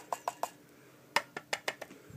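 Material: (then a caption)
Steel. Eight quick taps on the stamped steel dust cover of an AK-pattern rifle: three in a steady run, a pause, then five more. Each gives a short, bright metallic click with a hollow ring near 900 Hz that dies almost at once. The slight rattle shows the cover is loose and not tight, which casts doubt on the accuracy of scopes mounted on rail dust covers.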